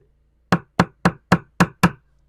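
A screwdriver handle taps six times on a hard spot of the fiberglass deck of a 1969 Iroquois Mk2 with a balsa core. Each tap is a short, dull, low knock with almost no ring. The deck sounds solid, in contrast to a wet soft spot nearby.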